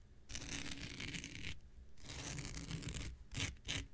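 An X-Acto knife blade scratches across a thin, hand-sized blue non-woven synthetic fiber scouring pad held in the hand. Two long, bright, hissy rasping strokes with a low rumble underneath are followed by two short, sharp scrapes, with brief quiet gaps between them.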